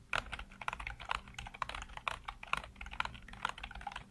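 Fingertips rapidly tap and type on the hollow keycaps of a full-size black plastic computer keyboard. A dense run of short, dry clicks with bright, hollow clatter follows, each stroke dying away almost instantly over a faint low hum.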